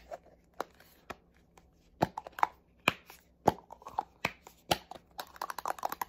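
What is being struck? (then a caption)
Plastic spray bottle. Fingernails tap quickly along the surface of a small black plastic spray bottle. The sharp, dry, hollow clicks come in irregular bursts with almost no ring, bunching into a faster, denser flurry near the end.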